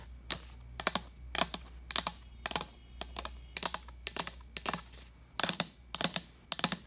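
Long nails tap the side and base of a large, empty, translucent plastic pitcher as it is turned, producing quick clusters of sharp, bright clicks. Each tap dies away almost instantly over a faint, steady low hum.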